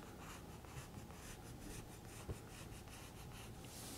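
A graphite pencil held in fingertips scratches and draws outlines on a page of a thick spiral-bound paper sketchbook lying open, its pages stacked and solid. The sound is quiet, with repeated soft, bright scratching strokes over a low hum and one slightly louder tap partway through.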